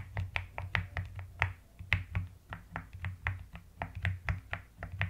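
Fingertips and long nails type rapidly on a white-cased mechanical keyboard with pastel plastic keycaps, producing about nineteen quick, separate key strikes. Each keystroke pairs a deep, low thock with a brief bright click and dies away almost instantly, forming an uneven, steady typing rhythm.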